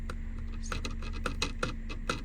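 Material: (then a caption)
Plastic. Someone taps a hollow plastic inner door lock pin cover on a Jeep, producing a series of light, short, hollow plastic clicks over a low steady hum. The cover is hollow, so the metal door pin tapping into it when it goes down makes an unwanted rattling noise.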